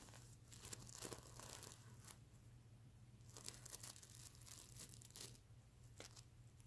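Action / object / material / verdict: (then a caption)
scrape / plush pillow covered in plastic sequins / plastic sequins / none. Fingernails scratch across a soft stuffed mermaid unicorn pillow covered in reversible plastic sequins, flipping the sequins over. Bursts of bright, crinkly rasping rise and fall over a steady low hum.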